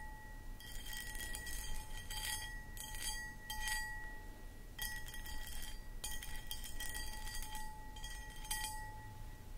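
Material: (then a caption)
Glass. Long acrylic nails scratch and tap a medium-sized, empty, hollow clear cut glass footed pedestal bowl held from behind. Bursts of bright, gritty scratching and clicking come and go over a steady chime-like ring near 850 Hz and 2 kHz, with a faint low rumble underneath.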